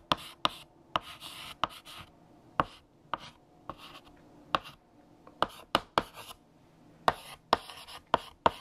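A blue chalk stick writes text across a large flat black chalkboard, producing a run of sharp chalk taps and scratchy strokes. Each stroke starts with a quick, bright tick that dies away almost instantly, followed by a short, rough scrape. Quieter gaps fall between the bursts.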